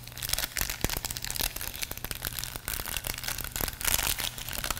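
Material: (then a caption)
Plastic film. A small, thin, flexible pinkish-purple soft plastic packet from a GoPro accessory box is crinkled between the fingertips of both hands above a wooden table. Dense, bright crackling and crinkling comes in quick irregular bursts, with sharp snaps over a faint low hum.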